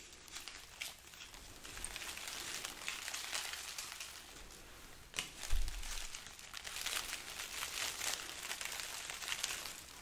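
A hanging strand of dried, hollow red chili peppers is rubbed and scratched by long nails and fingertips, making a steady, bright, papery crinkling and crackling. Soft low bumps come through now and then, with a louder thump and rustle around the middle.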